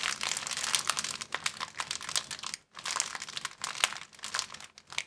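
An empty, thin clear plastic bag is squeezed and crumpled with the fingers, making dense, bright crinkling and crackling with little low end. The rustling runs steadily, stops briefly near the middle, then resumes with sharp crackles standing out.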